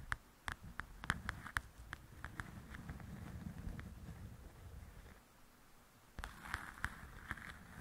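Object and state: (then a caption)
Paperback coloring book. Long painted acrylic nails tap and scratch the glossy cover of a softcover paper coloring book lying flat on a table, its solid stack of pages giving a dull thud. Sharp, bright clicking taps come in clusters at the start and end, with a softer, low, rustling scratch running through the middle.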